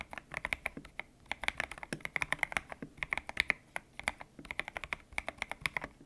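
Fingertips type steadily on a white-cased mechanical keyboard with grey and pink PBT plastic keycaps, its hollow case resting on a desk mat. A fast, uneven run of short, bright clacks centred around 2.2 kHz fills the clip, each dying away almost instantly, with brief pauses near 1, 3 and 4.5 seconds.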